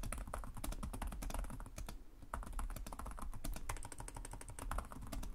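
Fingertips of both hands tap rapidly on the low-profile plastic chiclet keys of a black laptop with a hollow body, producing continuous typing. Quick, dry clicks with short taps and a low body thump run steadily throughout, with a brief lull around the two-second mark.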